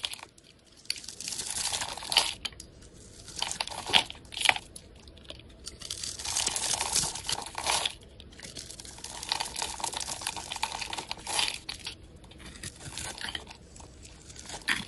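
A solid blue and white striped bar of soap, held in the hand, is carved and shaved with a utility knife blade. Bright, crisp crunching and scraping strokes come in bursts of varying length, with sharper clicks where the blade bites. There is almost no low end.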